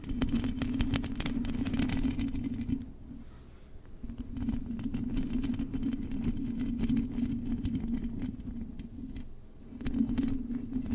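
Long acrylic nails tap and scratch the hollow metal mesh grille of a silver microphone, producing rapid, dense clicks and scraping over a steady low resonant hum. The scratching fades into a quieter lull around three to four seconds, then resumes, dips briefly again near nine seconds, and returns.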